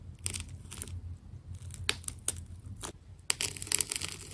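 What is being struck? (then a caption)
Ball of plastic tape. A small metal scraper blade cuts into and peels layers from a white and purple plastic tape ball. Sharp, bright tearing and crackling bursts are heard over a low steady hum. Some louder snaps stand out near the middle and end.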